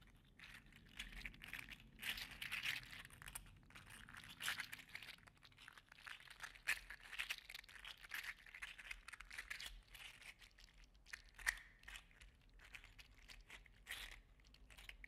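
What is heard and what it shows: A gold and green segmented 3D printed PLA articulated slug toy is held in the fingers, then bent and dangled so its segments click against each other. The result is a quiet, continuous stream of dry, rapid clicks and crinkly rattles, bright in tone with little low end, swelling in brief louder bursts.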